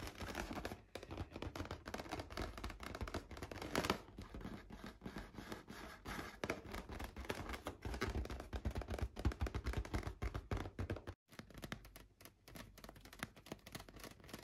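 Fingernails scratch and tap rapidly across a large, hollow, light-blue inflated latex balloon. The result is a dense, continuous rasping patter with a soft, low thumping resonance under it. The sound cuts out briefly near the end, then resumes more quietly.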